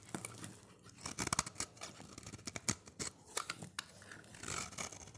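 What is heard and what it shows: A utility knife blade shaves thin slices off a solid, dry, oval orange bar of soap held in the hand. Quick crisp, bright scraping and crackling strokes follow one another in a steady, uneven series, each ending sharply with no ring. Soft rustling fills the gaps between strokes.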